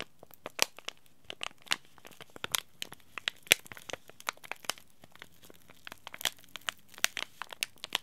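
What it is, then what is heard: Crinkly plastic-foil tea bag packet. A small green laminated plastic-foil tea bag packet, held in both hands, is crinkled and scratched by fingertips and short nails. It gives an irregular series of sharp, bright crackles and crinkles with a quiet near-silent background between them. Each crackle stops almost instantly, with no ring.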